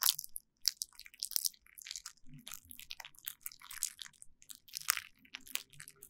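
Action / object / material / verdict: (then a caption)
scrape / plastic bubble wrap sheet / plastic / none. A derma roller, held by a hand with long nails, is rolled back and forth over a flat sheet of clear plastic bubble wrap, crushing and crinkling the bubbles. Sharp, bright crackles and crunchy pops come in quick, irregular bursts with almost no low end, each snapping off instantly.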